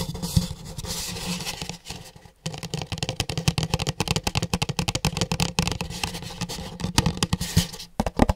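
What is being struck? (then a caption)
Paper cup. An empty pink paper cup is held close to a microphone at various angles and tapped rapidly with fingertips, producing dense, dull, low-heavy hollow taps mixed with light scraping rustle. The tapping briefly pauses for a moment of near-quiet, then resumes in quick, uneven bursts.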